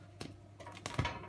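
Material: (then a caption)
Bread crust. A baked sourdough loaf, after 15 minutes at 250 °C and then 35 minutes at 220 °C, is tapped four times and gives short, dull, hollow knocks with a low body and little ring. The hollow sound shows the bread is baked through.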